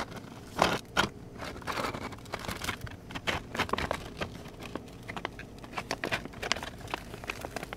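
A hand with long painted nails holds and squeezes a medium clear plastic bag full of flat rawhide dog chews. The plastic gives off irregular, bright crinkles and crackles, with two louder bursts near the start and a steady scatter of smaller crunches after them.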